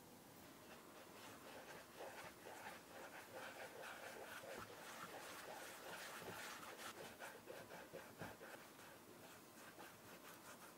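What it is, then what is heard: Leather shoe. Bare fingertips rub cream into the upper and toe of a brown leather Aurora Shoe & Co "Middle English" shoe. A quiet, continuous soft friction hiss runs throughout, with loosely rhythmic strokes of brushing, squeaky rubbing across the mid and high range and very little low end.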